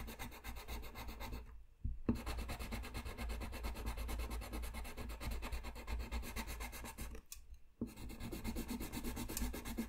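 A colored-pencil tip held against a flat sheet of white drawing paper on a white desk scratches and rubs steadily while coloring, making a dense, quiet rasping texture. The strokes break off for two short pauses, near two seconds and again past seven seconds, before the scratching resumes.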